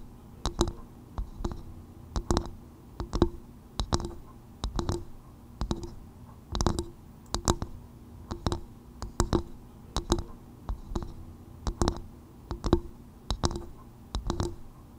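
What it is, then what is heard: Coconut shell bowl. Long white nails tap and scratch the rough, brown, fibrous outer surface of a small, hollow, empty half-coconut shell bowl placed upside down over a microphone. Short, dry clicks come in loose, uneven clusters over a low hum, with a hollow knock around 340 Hz and brief high scratchy ticks that die away almost instantly.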